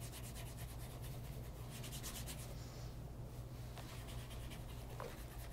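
A light brown pebble grain leather loafer, tilted to show the sole edge and then laid flat on a lap mat, is rubbed across its leather upper and welt by cloth-wrapped fingers. A steady, quiet soft rubbing and scratching runs throughout over a low hum, with faint brushy strokes in the high range.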